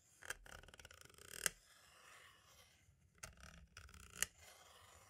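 A pointed tool tip taps on and traces along the top edge and right corner of a small, hollow, white plastic audio cassette shell. Quiet, dry scratchy scraping comes in short bursts, punctuated by a few sharp, bright plastic clicks that stop almost instantly, with quiet pauses between.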